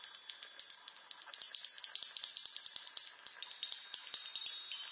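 Long nails tap and run rapidly across the hollow metal tubes of a small handheld chime on a wooden frame. About twenty quick, uneven strikes give bright, high, tinkling tones with short rings that overlap into a shimmering wash.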